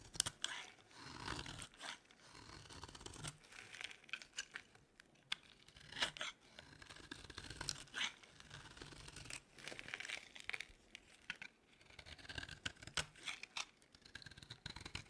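A solid, dry yellow oval bar of soap is held in the hand and shaved into curls with a metal blade. Crisp, bright scraping and tearing strokes follow one another in quick, uneven bursts, each with a brittle crunch and no ring. The sound is quiet and close throughout.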